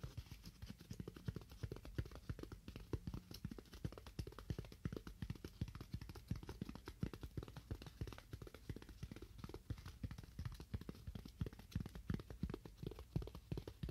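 Fingernails tap continuously on a styrofoam block in quick, irregular bursts. Each tap is a short, dull, low thud with almost no ring, and the taps run densely through the whole clip.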